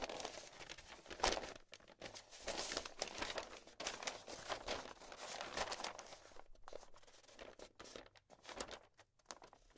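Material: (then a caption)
Paper. A folded sheet of thin pink writing paper with handwriting, now flat and unfolded, is held in both hands with long painted nails and shaken, flexed and rubbed over a marble table. Dense, bright crinkling and rustling comes in irregular bursts with brief quieter gaps.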